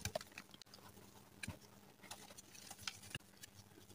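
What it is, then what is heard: Gym chalk block being crushed. Bare fingertips and palms squeeze, crush and rub soft, crumbly, palm-sized chunks of teal-dyed gym chalk (dyed magnesium carbonate) resting in a bowl of loose chalk powder flecked with a few yellow holi powder specks. The chunks give quiet, dry crunches and crisp, bright crackles over a soft, dusty, rustling patter. The solid chunks break down into powder.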